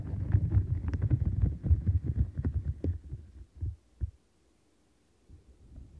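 Long nails scratch the side bristles of a light-blue domed silicone bristle mat, making dense, muffled, low scratching and thumping that fades into a few separate taps. After a brief silence, a fast rubbing motion ends the clip with soft, low brushing.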